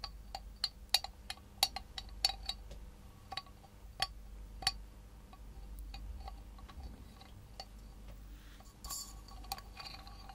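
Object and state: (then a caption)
Small tin milk can tapped with nails. A small, hollow, miniature galvanized tin milk can, held by its wire handle and in the hand, is tapped with long nails. The result is a series of short, bright metallic clinks with a high ping and almost no ring, scattered irregularly over a faint hiss. A softer scratchy patch comes near the end.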